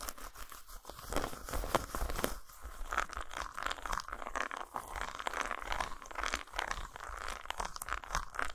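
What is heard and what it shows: Long nails scratch and tap quickly across the dotted, textured top of a solid flat dark chocolate bar lying on a towel. The result is a steady run of dry, crisp scratches and sharp little taps, with a mid-pitched rasp and brief clicks that die away almost instantly.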